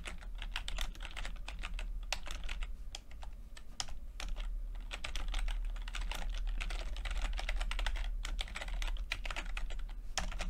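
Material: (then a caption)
Plastic. Fingertips tap the plastic keycaps of a backlit chiclet computer keyboard in continuous typing. Rapid, short, bright clicks run steadily over a constant low hum, with brief pauses around the third and fifth seconds.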